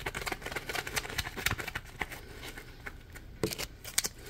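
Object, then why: Dry polymer foam sponge. A dry, porous, palm-sized yellow Scrub Daddy polymer foam sponge is squeezed and scratched with fingertips. It makes a quiet stream of crackly, bright scratching and rustling, with rapid short scrapes and clicks. A few sharper bursts stand out near the end.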